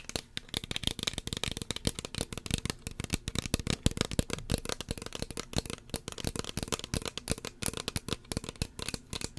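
Long fingernails tap rapidly and continuously on a small, hollow red plastic spray bottle with a white plastic pump cap, held close to the mic. Each tap is a dry, sharp click with a low hollow thump and a bright tick, dying away almost instantly. The taps form a dense, uneven clatter for the whole clip.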